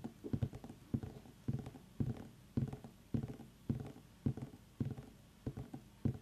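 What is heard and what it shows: Long nails tap around the ribbed skin of a small, solid, whole orange pumpkin with its stem on, using both hands while it sits on a wooden table. Short flurries of dull, low, hollow knocks come in quick clusters about every half second, each tap dying away almost at once.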